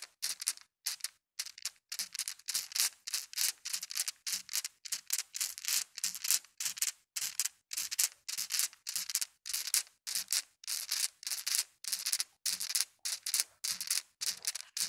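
Small solid colored glass marbles in a white mesh net are shaken and rubbed over carpet, so they clack together and scrape the carpet. Rapid, bright rattling bursts repeat in a loose rhythm, each with a crisp clatter and a short scratchy drag that stops almost instantly.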